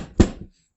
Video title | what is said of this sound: The Courier Smashed My Elizabeth Bathory figure & The Damage Was Severe Enough to Require a Repaint | the box is a lot more rigid and better in quality as you can see different sound when i tap on the box